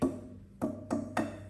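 A cheap hardware-store plywood panel is tapped four times, each tap giving a short woody knock with a clear, ringing tone around 266 Hz. Because it rings and has tonality, the panel is chosen for the face of a cajon.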